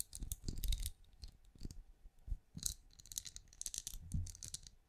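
Long nails tap and scratch the bumps of a small, hollow, glowing night lamp with a ridged, translucent, plastic-like shell, held up in front of the mic. Quick, delicate clicks and scratchy bursts come in uneven clusters, with bright, crisp highs over soft, low thumps. Each tap dies away almost at once.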